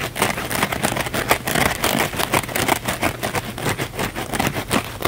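A small blue kitchen sponge, a soft, porous cellulose sponge with a blue scouring-pad layer, is held in both hands and scratched fast and aggressively with fingernails on the scouring side. The result is a dense, continuous rasping crackle of rapid, uneven strokes with a bright, hissy texture and little low end, steady throughout.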